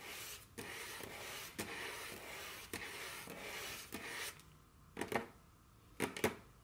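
Very long curved fingernails scratch and rub across a solid, dark wooden tabletop, making a steady bright rasping hiss broken by soft periodic accents. The scratching then stops, and four sharp, short taps follow in two quick pairs, clicking and dying away at once.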